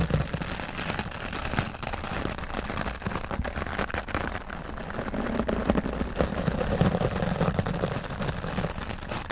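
A grey foam microphone windscreen is brushed with a wooden-backed, stiff-bristle dry brush. The result is a continuous, dense scratchy rustle with heavy low-end thump. Many small crackling strokes blur together rather than standing apart.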